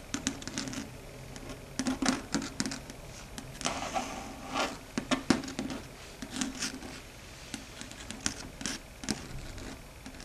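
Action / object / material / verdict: tap / chalkboard surface / slate board / none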